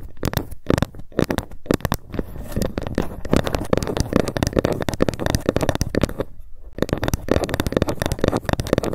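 Long nails tap fast and scratch along a long, flat, solid bamboo ruler lying on a mat close in front of the mic. The result is a dense run of short, dry, woody clicks with a low-mid body and little brightness, mixed with brief scratchy rustles. The tapping breaks off for a moment just past the six-second mark, then resumes.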